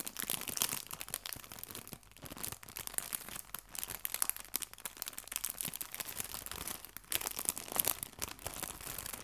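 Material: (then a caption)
Plastic. A small clear cellophane bag full of artificial fabric leaves is tilted and crinkled with fingertips and nails. The result is a steady stream of quiet, dry, bright crinkles and crackles with little low end, swelling and easing in density and leaving no ring.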